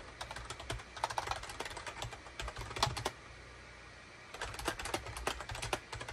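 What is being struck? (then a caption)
Plastic computer keyboard. Rapid fingertip typing with both hands on a full-size gray, cream and orange plastic SHIPADOO K600 wired USB keyboard with a hollow plastic housing, resting on a desk mat. About 33 bright, clacky keystrokes with a hollow low thump come in quick bursts. The typing pauses for about a second near the middle, then resumes.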